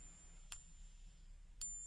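A copper-nickel coin balanced on a fingertip is tapped twice with another coin, giving two short, high, whiny pings that fade within a fraction of a second over a low background hum. The ring marks it as copper-nickel, not silver.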